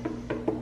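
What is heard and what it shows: Four hollow knocks on a whole watermelon, each a short, dull, low thump that dies away almost at once. The melon sounds hollow, is heavy, and has not been cut open.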